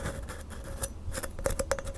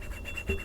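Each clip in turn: First: Quick, dry scratching strokes over the rough unglazed rim of a ceramic mug, gritty and without ring. Second: A soft, quiet fingernail scratch slides over a glazed ceramic mug, smooth and nearly free of grit.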